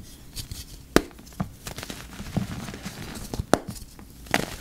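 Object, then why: Block of dyed gym chalk. Yellow rubber-gloved fingertips press into a heap of dry purple-dyed gym chalk powder with lumps, crushing it. Short, dry crunches and soft crackles stand out over a quiet, gritty rustle, each snapping off quickly with almost no ring.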